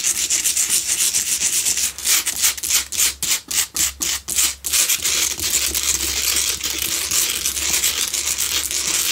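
Long pale-blue nails scratch fast across the face and sides of a lit pink Himalayan salt double candle holder made of solid salt block. The result is a dense, bright, dry rasping that runs almost continuously, with a stretch of separate, quick strokes in the middle before the steady scratching resumes.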